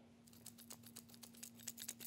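A new Hercules corded-battery hammer drill with a plastic housing is shaken, and a loose part inside rattles, which is not a good sign; the cause is unknown. It makes a quick series of light, bright clicks and ticks over a faint steady low hum.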